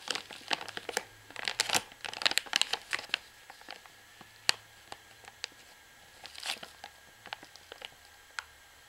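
A long fingernail taps and scratches the side and barcode area of a full plastic washing powder pouch. The result is bright, crinkly clicks and scrapes that die away instantly. They come in a dense flurry over the first few seconds, then thin out into scattered single taps with a brief scratchy burst near the end.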